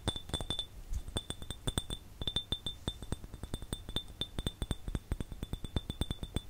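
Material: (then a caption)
Glass. A small, empty, clear glass jar, hollow and without a lid, is held and tapped with the fingertips and nails, making a rapid, uneven run of short, bright, ringing clinks. Each tap pairs a soft low knock with a glassy tone near 3.5 kHz and higher overtones, and each one dies away almost at once.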